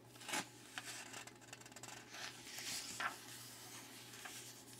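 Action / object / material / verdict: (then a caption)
scrape / glossy paper magazine page / paper / none. Fingertips rub the surface of an open glossy paper magazine lying flat on a wooden table, then turn a page. The result is a quiet, bright dry rubbing and crinkling of the paper, with a few sharper rustles along the way.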